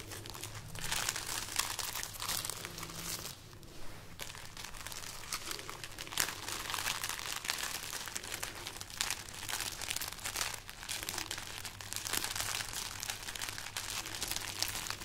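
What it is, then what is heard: Dry dried chili pepper pods. Long nails scratch and crinkle a string of hollow, dry red chili peppers hanging from a raised hand. The result is a steady stream of bright, crackly rustling with dense quick snaps over a faint low hum, with a brief softer lull partway through.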